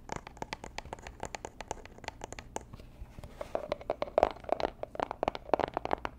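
Long nails and fingertips tap and scratch the surfaces of a small, rigid, hollow robin's-egg-blue Tiffany & Co. cardboard gift box held in both hands close to the mic. Rapid, dry clicks and brief scratches come with almost no ring. In the second half, the taps grow louder and take on a hollow tone around 700 Hz.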